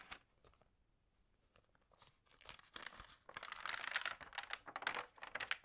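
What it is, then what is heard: Paper magazine pages crinkling. Long painted nails and fingertips rub and turn the pages of an open printed magazine lying flat at its puzzle and horoscope pages, crinkling the lightly water-sprayed paper. Soft, sparse rustles and taps build into dense, bright crinkling and tearing-like crackle in the second half, with irregular bursts and almost no low end.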